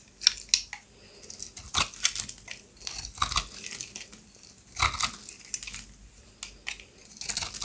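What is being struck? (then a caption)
Bar of soap scraped with a blade. A solid pink oval bar of dry soap, held in the hand, is scraped and shaved with a serrated box-cutter blade, peeling off curls of soap. The result is a series of dry, bright, crackly scraping and tearing bursts with quiet pauses in between.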